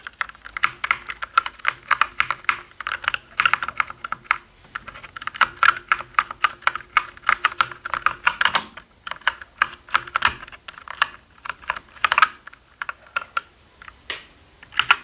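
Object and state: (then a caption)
Plastic mechanical keyboard. Fingertips press and tap keys across a black mechanical keyboard with plastic keycaps. Quick, irregular bursts of short, dry plastic clacks come in uneven clusters with brief pauses, each click sharp and bright with a midrange body around 1.4 kHz. There is almost no low end and the clicks die away instantly.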